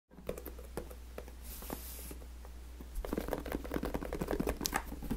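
Fingertips and nails tap and scratch the top and sides of a medium-sized, hollow, taped FedEx corrugated cardboard shipping box resting on a black surface. Quick, irregular dull taps mix with a brief rough scratch, and the tapping grows busier and louder after about three seconds. A steady low hum sits underneath throughout.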